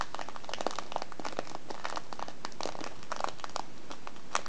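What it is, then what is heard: Kraft paper tea bag crinkled. A small filled kraft paper tea bag with a plastic window has its folded top crinkled and squeezed with fingers and nails. Dense, continuous crinkling and crackling fills the clip, with sharp bright ticks over a papery mid-range rustle, at a steady, quiet level.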